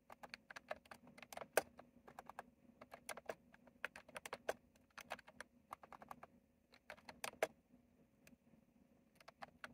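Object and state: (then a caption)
Plastic mechanical keyboard. Fingertips type and tap on a retro plastic mechanical keyboard with round plastic keycaps. The result is a stream of short, sharp clicks at an uneven pace, some louder than others, over a faint steady low hum.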